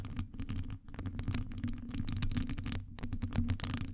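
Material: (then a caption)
Metal. Long acrylic nails scratch and tap a hollow metal wire-mesh microphone grille. A continuous run of dense, crackly scratches over a steady, boomy low resonance, with brief quieter gaps near 0.8 and 2.9 seconds.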